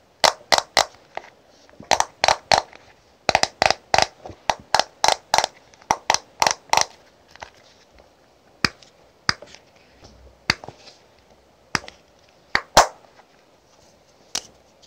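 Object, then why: Small clear plastic powder compact. Long pink-painted nails tap and click on the lid and edges of a small, square, clear plastic Cheektone Powder blush compact held in both hands; the hollow case holds pressed powder. Sharp, bright plastic clicks come in quick clusters at first, then thin out into sparser single taps. Each one is dry with almost no low end and dies away almost instantly.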